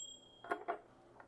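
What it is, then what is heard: Brass object, dull non-ringing. A brass worship item is struck three times, giving short, dull, non-ringing knocks that die away almost at once. Brass does not ring the way bell metal does.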